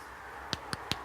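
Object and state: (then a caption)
Crisp twice-baked biscotti. Three sharp, dry taps on a twice-baked chocolate, orange and almond biscotti slice, after a second 10 to 15 minute bake, give short clicks with almost no ring. They show the slice has crisped up nicely.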